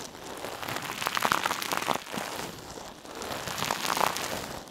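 A hand-sized, soft, silver metallic mesh scrub sponge, held in one hand, is squeezed and rubbed over a mannequin ear. It makes a dense, crinkly crackling texture centered in the midrange with bright highs. The sound swells into two louder bursts before fading slightly at the end.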